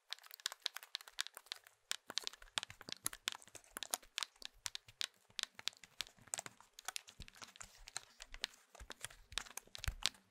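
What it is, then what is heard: Plastic mobile phone casing. Fingertips press the rubber keypad buttons and tap and scratch the plastic shell of an old, hand-sized Nokia mobile phone. The result is a quiet, rapid stream of dry, bright clicks and crinkly taps. Each is very short, with little low end and no ring after.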